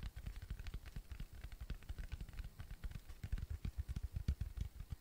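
A round, flat, tan cork coaster, thin and solid, is tapped and scratched with fingertips and nails. A rapid, steady run of soft, dull, low thumps dies away almost at once, with faint, bright scratchy ticks over them.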